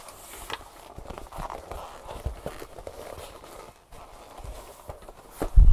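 Long painted nails and fingertips tap and scratch across the leather surface and flap of a large tan leather tote bag, hollow and apparently empty, lying on a wooden table. Quick, soft, dull taps with faint scratching rustle through a low, muffled hush, ending in a louder, deeper thump.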